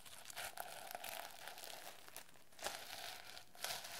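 A medium-sized hardcover notebook with a reversible plastic sequin cover, turquoise with a yellow design, is held up while long nails and fingertips scratch and rub the sequins back and forth. The result is a steady, bright crinkly rustle with sharper clicks and scrapes as the sequins flip over.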